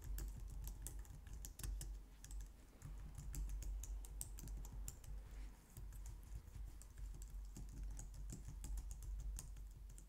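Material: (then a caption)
Plastic. A low-profile white/light-grey plastic wireless keyboard resting on a glitter mat on a wooden desk is typed on with long painted nails and fingertips. A steady stream of short, bright clicking taps runs throughout over a constant low hum, with very quick decay on each tap.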